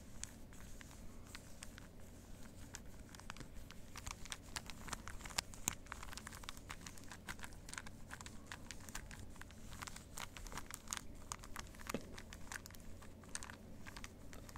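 A small hollow plastic 3x3 puzzle cube is held in both hands while its layers are twisted, giving a quiet, steady stream of clicky plastic rotations. The sharp, bright clicks come in rapid bursts with no ring, over a constant low hum throughout the clip.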